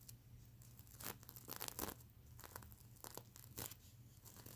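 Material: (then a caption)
Plastic sequins. Fingernails scratch and brush across the plastic sequins of a soft, sequin-covered fabric pillow, making dry, crinkly scraping bursts. A low hum sits under the scratching throughout, and the louder strokes flash bright and crisp before quickly stopping.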